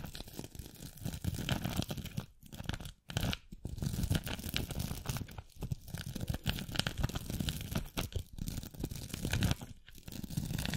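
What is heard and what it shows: A glitter-covered masquerade mask, possibly beaded, is held close over a microphone and scratched and tapped with long acrylic nails on both hands. The sound is a dense, continuous run of crisp scratching and crinkly tearing textures. It has a heavy low rumble underneath and short gaps of near-silence between the passes.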